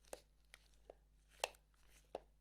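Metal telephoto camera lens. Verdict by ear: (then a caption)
Loose. A Canon FD 300mm f/4 L metal telephoto lens is tilted, producing a few short, light clicks and rattles as something shifts inside. The cause is a loose screw inside the focus ring under the rubber grip, which is not normal.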